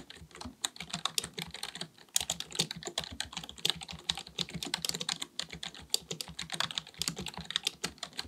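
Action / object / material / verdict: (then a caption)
tap / plastic computer keyboard / plastic / none. Fingertips of both hands type rapidly on a black full-size plastic computer keyboard resting on a desk. A steady stream of short, bright key clicks and taps dies away almost instantly, with a brief pause near the two-second mark.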